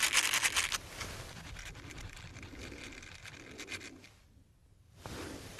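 Two small, hollow, light-blue ribbed silicone finger brush sleeves, worn on the fingertips, are rubbed and scratched against each other. A loud burst of bright, rapid scratching opens the clip, then settles into a quieter, steady, crackly rubbing. The sound fades almost to silence briefly before the scratching picks up again at the end.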